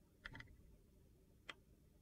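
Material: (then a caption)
Glycerin soap. A metal utility knife blade shaves thin, brittle slivers off a solid translucent glycerin soap bar with purple pieces, held in the hand. Three short, crisp ticking scrapes sound: two close together near the start and one more after a pause. Each carries a bright crackle centered around 2 kHz and dies away almost at once over a faint low background.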